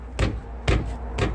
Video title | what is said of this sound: Przekładnia kierownicza Ford Mondeo Mk4 | ewidentnie słychać jak pukam czyli uderzam w drążek kierowniczy i uderza rozdzielacz o zęby